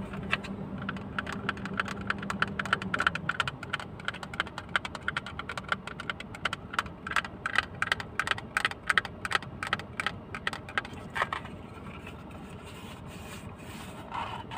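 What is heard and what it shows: A small, hollow, closed blue plastic case is held close to the mic and tapped rapidly with fingertips and nails. The result is a quick, irregular stream of short, dry clicking taps with a bright edge, over a faint low hum during the first few seconds, thinning out and softening toward the end.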